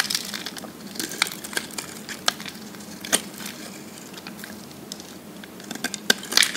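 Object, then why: Bar of soap scraped with a metal blade. A metal blade with a textured grip shaves and scrapes the surface of a dry, solid pink bar of soap held in the palm, and flakes fall off. The sound is a steady, bright, crisp crackling scrape, punctuated by sharper, louder snaps, with a burst of quick cuts near the end.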